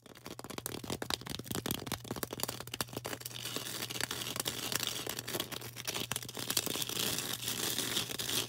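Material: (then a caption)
Floral foam. Long orange acrylic nails rapidly tap and scratch a hand-held green floral foam brick, a solid, porous block about the size of a fist to a palm. The sound is a dense, bright stream of dry crackling clicks and scraping crunches with almost no ring, over a faint low steady hum.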